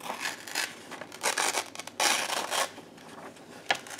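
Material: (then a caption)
Paper. A large white paper sheet is torn apart by hands in black lace gloves against a red backdrop. Bursts of dry, bright tearing and rustling come in uneven stretches, with the loudest rip near the middle and a short sharp tear near the end.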